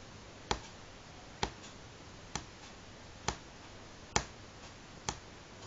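Fingernails of both hands tap on a solid light pine wooden tabletop, making six sharp, dry clicks spaced roughly evenly over a quiet background hiss. Each tap has a brief woody knock centered in the mid range with a bright edge, and it dies away almost instantly.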